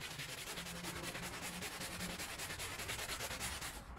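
A gloved hand scrubs a small, wet, fringed woven rug covered in foam on the floor with a handheld brush. Steady, rhythmic scrubbing strokes make a bright, rough, hissing swish throughout, with a low rumble underneath.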